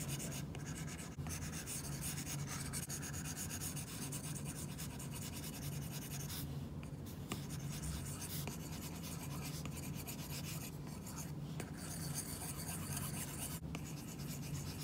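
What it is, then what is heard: Stylus scratching a matte screen protector. An Apple Pencil's plastic tip scratches and rubs across an iPad screen fitted with a matte plastic screen protector in fast, short hatching strokes. A steady, dry, papery scratching continues throughout, with a low hum underneath and a few brief pauses between bursts of strokes.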